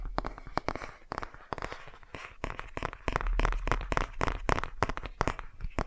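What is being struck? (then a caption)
Cardboard board book, nail tapping. Fingernails tap the page edges and the glossy cover of a cardboard board book. The result is a rapid, uneven run of short, dry clicks and ticks over a faint low hum.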